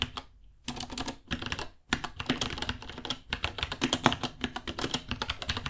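Both hands type with their fingertips on a small white 66-key mechanical keyboard with Gateron Brown switches, white plastic keycaps, a hollow case and pink underglow, resting on a white desk. Quick, crisp clacking key taps come in dense bursts, with brief pauses near the start. The taps carry a bright, hollow plastic click.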